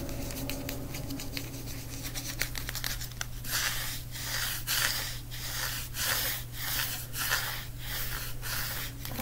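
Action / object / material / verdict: tap / hardcover book, cardboard cover / cardboard / none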